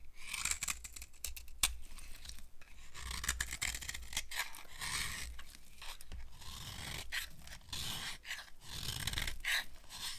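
A red-handled knife carves a solid, dry white cream soap bar held in the palm, its blade scraping off thin dry shavings. Crisp, bright scraping and crunching strokes repeat steadily over a low, soft rumble.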